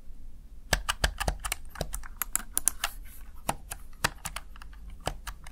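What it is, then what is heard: Plastic gaming keypad. A Razer Tartarus Chroma one-hand gaming keypad, hand-sized and hollow-bodied with plastic backlit keys, is pressed rapidly with fingertips and short nails. The result is a quick, uneven run of short, dry, bright plastic clicks and taps with no ringing, over a low background hum.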